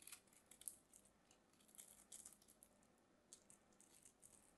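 A solid white bar of soap is held in the hands while its edges are scraped and carved with a small craft knife. The sound is quiet and mostly high, a run of soft, bright scratching and crisp shaving clicks with little low end. The short strokes are uneven in spacing and loudness, with a few sharper ones standing out.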